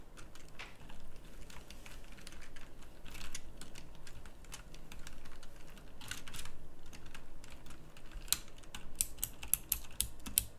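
A full-size pink mechanical keyboard with round plastic typewriter-style keycaps is typed on sparsely with the fingertips. Quick, bright clicky key presses come in scattered clusters over a steady low hum, with no talking.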